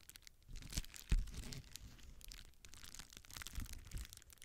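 A clear plastic bubble wrap sheet is held in both hands close to a microphone while fingers squeeze, crumple and crinkle its air-filled bubbles. Dense, soft crinkling and crackling runs throughout, with low muffled thumps and a couple of louder bumps early on.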